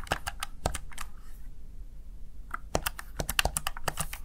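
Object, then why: Plastic gaming keypad. Fingertips press the keys of a Razer Tartarus Chroma plastic backlit gaming keypad, making short, crisp clicking taps with a bright edge over a low hum. A run of quick taps gives way to a brief lull near the middle, then a faster, denser burst of key presses follows.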